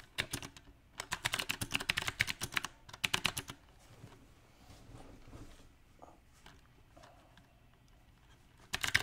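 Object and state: Mechanical keyboard with round plastic keycaps.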